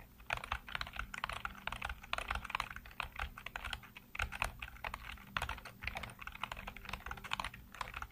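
Fingertips tap rapidly across a black plastic computer keyboard with hollow keycaps and blue-lit keys. The result is a steady stream of short, dry plastic clicks with a mid-to-bright clatter, over a faint low hum throughout.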